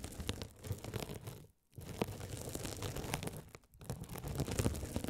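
A rolling gold metal spiked roller scratches a hand-sized blue glitter mesh scouring sponge, soft and solid with a sparkly woven mesh cover, held over the microphones. The result is a dense, low-heavy scratchy crackling and crinkling texture, broken by two brief silent gaps.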